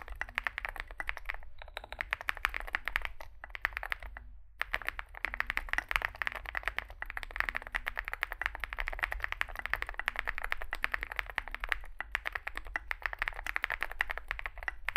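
Two hands type with their fingertips on a Zoom65 65% mechanical keyboard with a solid metal case and grey and white SA-profile plastic keycaps, resting on a desk mat. The result is a steady, rapid stream of short, bright plastic clacks that die away almost instantly, over a faint low hum. The typing pauses briefly near the start and again around the four-second mark.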